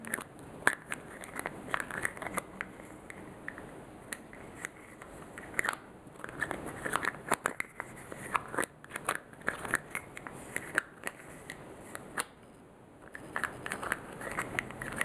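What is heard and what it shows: Fingertips and short nails handle, twist and tap the clear plastic over-cap of a small, hollow white plastic lotion pump bottle. Many quick, dry clicks and taps sound over a constant soft crackle and rustle, with a bright, hard edge centered around 1.6 kHz. A brief quieter pause comes near the 13-second mark before the tapping picks back up.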